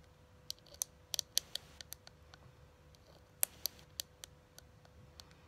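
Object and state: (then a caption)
Metal tin eyeshadow palette. Long glittery nails tap and scratch the lid of a small, flat, hollow pink printed tin eyeshadow palette (Too Faced peach) held up in the air. About 13 sharp, bright clicks land at irregular intervals, each dying away almost instantly. Softer scratches sit between them over a faint steady hum.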